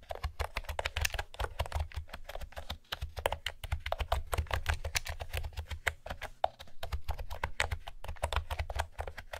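Fingertips with long manicured nails type steadily on a pastel blue plastic retro keyboard with round typewriter-style keys and a hollow plastic body, resting on a wooden table. The result is a dense, continuous stream of quick, sharp clacks with a bright edge, each one dying away almost instantly over a low, hollow thump.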